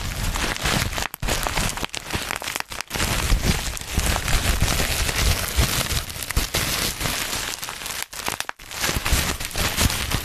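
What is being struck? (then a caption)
Plastic bubble wrap. Black plastic bubble wrap is held in both hands close to a microphone while fingers squeeze and pop its bubbles. A dense, continuous crinkling and crackling fills the clip, with sharp pops and low thumpy handling noise underneath. A few brief pauses break the stream near the start and again near the end.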